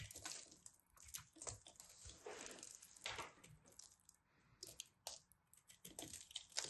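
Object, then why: Pressed soap ball. A solid pressed soap ball is scraped and carved with a craft knife, crumbling apart with crunchy sounds. Bright, dry scraping and crackling come in many short bursts, with little low end.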